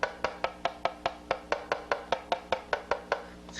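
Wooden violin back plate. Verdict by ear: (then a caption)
Symmetrical. The wooden back of a violin, with its top removed, is tapped in a steady series of about sixteen short, dry knocks across its left and right sides to find where it likes to be driven, each tap giving a brief hollow wooden tone centred around 580 Hz. The tap tone is best at the centre and sounds about the same on each side, showing the back is symmetrical, which agrees with the earlier caliper thickness measurements.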